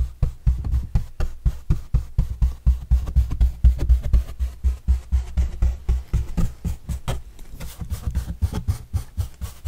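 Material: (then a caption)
Corrugated cardboard. A large, flat, hollow white corrugated cardboard pizza box with green edges is held upright and brushed with paintbrushes, first a dark bristle brush and then a yellow bristle brush. The quick, fairly regular strokes make dull, low, thumping swishes with very short decay and almost no bright content.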